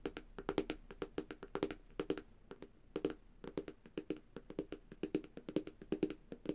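Long dark-painted nails and fingertips tap the reflective glass screen of a flat black Samsung tablet, a thin solid device. A quick, uneven run of short dry clicks, often in pairs, each with a bright nail tick and a hollow mid-pitched knock that stops almost at once.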